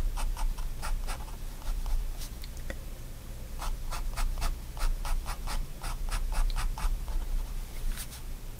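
A pigment liner pen draws short lines and hatching on a flat sheet of white sketchbook paper. Quick, bright scratchy strokes come in bursts over a steady low hum.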